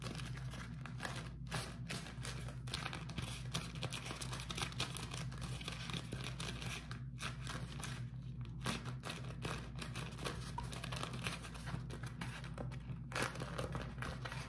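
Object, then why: Beeswax-coated cotton food wrap. A beeswax-coated cotton food wrap is rolled and scrunched between fingers close up, giving steady crinkling with dense, bright papery crackles over a constant low hum. The crackles run continuously, with brief quieter gaps, for the whole clip.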